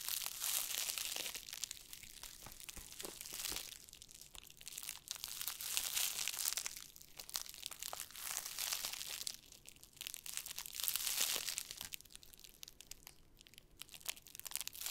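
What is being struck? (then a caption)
Board wrapped in plastic film. Fingertips rub and squeeze the crinkly black plastic cling film wrapped around a large, flat rectangular board held in both hands. The result is a dense, bright, continuous crinkling with almost no low end. It swells and fades in uneven waves over the fifteen seconds.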